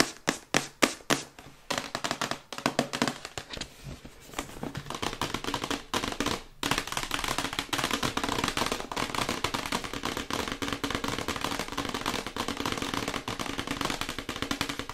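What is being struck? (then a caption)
Printed cardboard box. Long white acrylic nails tap fast on the printed side of a glossy printed cardboard Yeti microphone box. A few separate sharp, hollow clicks open the clip, then it becomes a dense, continuous patter of dry, bright taps with almost no ring.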